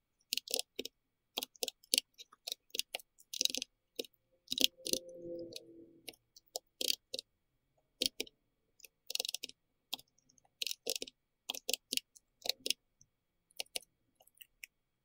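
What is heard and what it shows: Fingertips of both hands tap the round plastic keycaps of a pink-red compact plastic mechanical keyboard, making quick, bright clicky keystrokes in uneven bursts. Around five seconds a softer, sustained midrange hum rises under the typing, then fades as the tapping continues.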